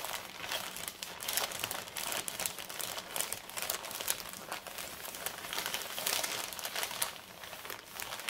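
Fingertips and long red nails rub and scratch the plain back side of a large, flat, empty brown kraft paper mailer bag. The result is a continuous, dry crinkling and scratching texture, bright and hissy with almost no low end, swelling and easing in loudness as the nails move across the paper.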